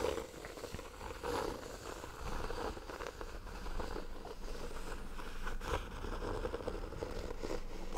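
Fingertips and nails scratch along the brown and red embossed ornamental cover of a small, solid hardcover notebook held close to the microphone. The result is a steady, close-up rasping and crackling scrape for the whole clip, with low-heavy rubbing under a midrange scratchy texture and small swells as the strokes repeat.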